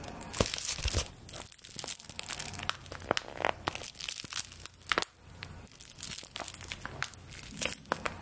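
A small folded paper play-money bill, held in both hands, is crinkled and scratched with long nails. Close, dense crinkling and crackling bursts with bright scratchy edges come in quick irregular clusters over a faint steady low hum.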